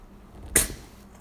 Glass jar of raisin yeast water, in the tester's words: it bubbles up almost like a soda all that carbon dioxide bubbling out of there